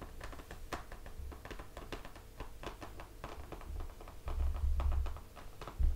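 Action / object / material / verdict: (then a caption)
tap / hardcover book, laminated cardboard cover / cardboard / none. Fingertips of both hands tap on the glossy laminated cardboard cover of a closed hardcover picture book resting on a table. The result is a quick, irregular patter of short, dry taps with soft, low thuds underneath that grow a little stronger toward the end.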